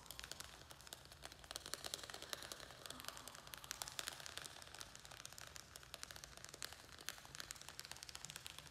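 A small square black plastic plant pot, filled with soil and a string-of-pearls plant, is held in the hands and rapidly tapped and scratched with fingernails. The result is quiet, bright, dry clicking and scratchy crackling that stays busy throughout, with little low end.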